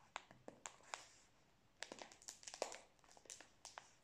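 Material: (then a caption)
Plastic film. Fingertips and nails tap and crinkle the plastic wrapper of a full Prince biscuit roll held horizontally. About fifteen quiet, sharp taps land in uneven clusters, each one a short, bright, crackly click that dies away almost immediately. Between the taps there is a soft rustle of crinkling plastic.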